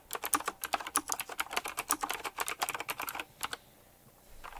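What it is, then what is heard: Typewriter-style mechanical keyboard being typed on. Both hands type quickly with fingertips on a retro typewriter-style mechanical keyboard with round plastic keycaps and metal rims, producing a rapid run of sharp, bright clacks. The keystrokes continue for about three and a half seconds, then stop, leaving near-silence with a few faint soft clicks at the end.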